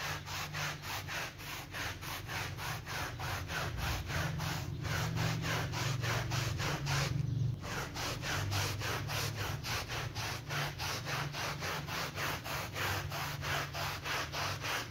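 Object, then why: Synthetic pile bath mat scrubbed with a stiff-bristle brush. A gloved hand scrubs a small, soaked and soapy rectangular bath mat with synthetic fabric pile on a terrazzo floor, pushing a yellow stiff-bristle brush back and forth. The result is a steady, rapid wet rasping of about three strokes per second, with bright bristle hiss over a low rumble. The strokes briefly blur together around the middle before the even rhythm resumes.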